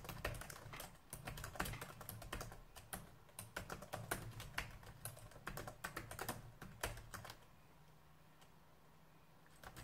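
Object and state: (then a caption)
Plastic laptop keyboard. Fingertips type on the keys of a black plastic laptop keyboard, producing a quick run of sharp clicking taps over a steady low hum. The typing stops at about 7.5 seconds, leaving the faint hum before a few light taps return at the very end.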